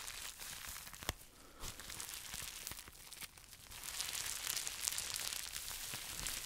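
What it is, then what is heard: Plastic bubble wrap pouch, crinkled. A small, hollow, empty pink plastic bubble wrap pouch is held in both hands and crinkled and scratched with fingertips and short nails. The result is a steady, bright crinkling and scratching with quick, irregular crackles and a few sharper ticks, getting a little busier toward the end.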